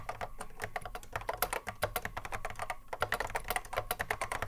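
A cream Apple M0110A vintage keyboard, a hollow plastic case with Alps SKCC mechanical switches sitting on a wooden desk, is touch typed continuously by the fingertips of both hands. The result is a fast, steady stream of short, clacky keystrokes with a hollow plastic body and a midrange tone, each click dying away almost at once, with the odd louder strike standing out.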